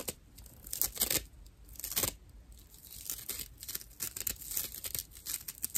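A dry, hand-sized natural loofah pad of fibrous plant material is held in both hands and scratched with fingernails. Rough, bright, papery scratching comes in quick irregular bursts, some louder and longer, with a crackly tearing texture and almost no low end. Each stroke stops dead with no ring.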